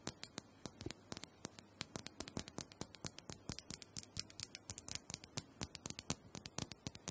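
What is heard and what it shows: Long nails tap and scratch the curved surface of a small, round, purple plastic dome handheld massager, which is likely hollow. Around fifty quick, bright, dry taps follow one another in an uneven rhythm, each dying away almost instantly, with faint scratching between them.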